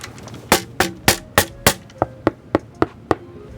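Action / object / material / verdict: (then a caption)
knock / sheet-metal computer case side panel / sheet steel / undamped. Ten sharp knocks on an undampened Silverstone metal PC case side panel, tested for comparison with a dampened one. Each rap gives a bright, brief metallic clang with faint tonal ringing that dies away quickly. It sounds noticeably different from the dampened panel.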